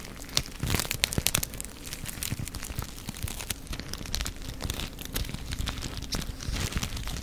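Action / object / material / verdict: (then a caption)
scrape / small foil sachet / foil / none. A small silver foil sachet, apparently a sealed wipe or dressing packet, is held in the fingers and crinkled and rubbed with the fingertips. It makes a dense, continuous run of sharp, bright crinkles and crackles, with louder bursts near the start over a steady low rustle.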